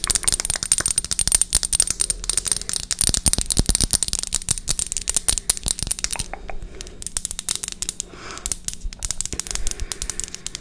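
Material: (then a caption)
Glass. A small, thick rectangular glass perfume bottle, partly filled with amber liquid and topped with a metal cap, is held in both hands and tapped and scratched with long acrylic nails. Rapid, bright, clicky taps with a high glassy tone come in dense flurries, mixed with softer scratching on the glass. There are brief lulls around the middle before the tapping resumes.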